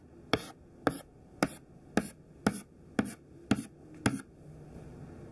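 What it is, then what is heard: Chalk tapping on a chalkboard. Thin white classroom chalk held in the hand taps out a row of quick dash strokes on a black chalkboard. Eight short, dry, scratchy taps land about half a second apart with a brief gritty scrape after each. A faint steady hiss remains once the strokes end.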